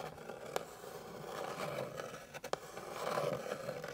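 Long pink nails scratch quickly across a flat, light, solid wooden board, making a steady dry rasp centred in the mids around 500 Hz. A couple of sharp, bright clicks cut through the scratching before it swells louder toward the end.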